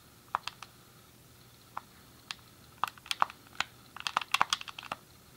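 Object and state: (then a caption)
Plastic game controller buttons clicking. A grey, hollow plastic SNES game controller held in both hands is clicked by the thumbs on the D-pad and face buttons. Seventeen short, dry plastic clicks come in sparse taps at first and then in a quicker burst toward the end. Each click is bright, sits around 1 kHz, and dies away almost instantly over a quiet background.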